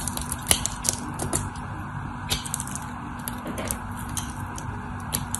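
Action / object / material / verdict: scrape / bar soap scored with a metal knife blade / soap / none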